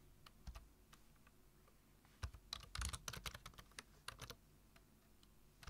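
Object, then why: Plastic computer keyboard. Fingertips of both hands type steadily on a black plastic full-size computer keyboard, tapping the keys. Sparse, quiet, bright clicks with a soft low thump start the clip, then a louder, denser flurry of keystrokes comes through the middle. It thins back to scattered taps and ends on one sharp keystroke.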